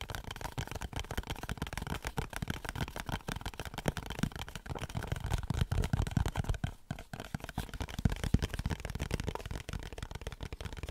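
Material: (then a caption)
Cardboard. A small, closed rectangular Dove soap box of printed cardboard is held close and scratched and tapped with fingernails. This makes a dense, continuous run of dry scratching and quick tapping, heavy in the low end, with short clicks that die away almost instantly.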